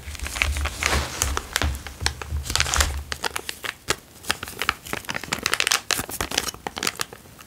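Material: Plastic.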